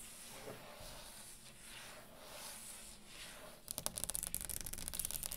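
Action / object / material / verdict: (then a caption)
tap / wooden tabletop / wood / none. Long green acrylic nails on both hands sweep and scratch across the top of a round solid wooden table, making a soft, breathy rasping hiss. At about 3.7 seconds this turns into quick, irregular, bright clicking taps on the wood, each short and dry.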